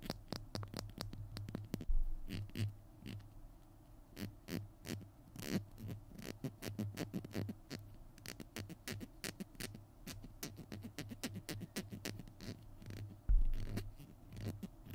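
Fingernails tap quickly along the tube and cap of a small hollow plastic glue stick held in both hands. The result is a dense run of short, dry clicks over a soft, hollow low resonance. Two louder knocks stand out near the start and near the end.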